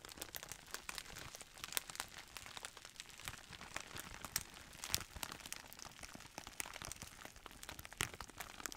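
A clear plastic bubble wrap roll in a printed sleeve, with air-filled bubbles, is squeezed and crinkled by both hands. There is a steady, bright crackling with dense crinkles and frequent sharp snaps. The sound stays fairly quiet and dry, with each snap dying away almost at once.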